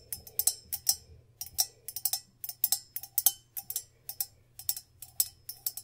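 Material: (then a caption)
Copper. An empty hollow copper Moscow mule-style mug with a handle, held in the hands, is tapped with long pink nails on its body and rim. There are 27 quick, bright, clicky taps in an uneven rhythm, often in pairs. Each tap is sharp and high-pitched with almost no ring, over a faint low hum.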